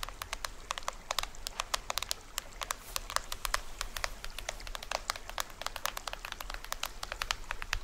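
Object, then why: Plastic film head of a small toy drum. Fingernails scratch and tap near the edge of the printed plastic film head of a small hollow toy drum. The result is a rapid, uneven run of dry, bright ticks and clicks that stop almost instantly, over a soft low rumble.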